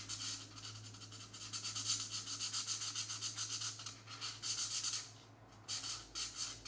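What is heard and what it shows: A marker tip scrubs quickly back and forth over a small area of a paper coloring book page, giving a dry, bright scratching and rubbing sound in rapid, uneven strokes. The scrubbing briefly fades just after the five-second mark, then resumes in short bursts over a faint steady low hum.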